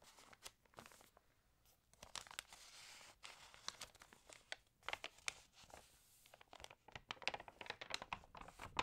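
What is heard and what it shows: A page of an open, water-damaged glossy paper magazine is flipped with a crisp crinkling rustle, then fingernails tap and scratch across the spread. The quiet sound is made of many short, bright clicks and scrapes with little low end and almost no ring.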